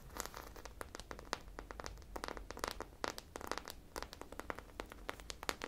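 A hand-sized, solid polyurethane foam squishy popsicle covered in sprinkles is held in both hands and scratched with long nails along its bumpy sprinkle surface. Quick, dry, crinkly scratches and sharp bright ticks come in rapid, uneven bursts over a soft low rumble, each one dying away almost instantly.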